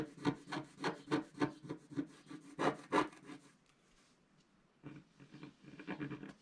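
A wooden stylus scrapes a flat black-coated scratch-art card, revealing the gold layer underneath. Quick, dry, rasping strokes repeat in an uneven rhythm for about three seconds. After a brief near-silent pause, softer scratching resumes.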